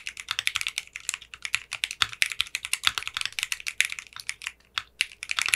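Fingertips with short manicured nails type on a 60% mechanical keyboard with clear pink polycarbonate keycaps. The result is a rapid, steady stream of crisp, bright key clacks with very short decay and almost no low end.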